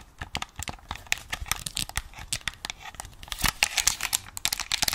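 Long nails tap and scratch across the top surface and touchpad of a hollow white plastic game controller. A rapid, uneven run of dry, bright clicks and scratchy rasps fills the clip, with very little low end. Each tap dies away almost instantly.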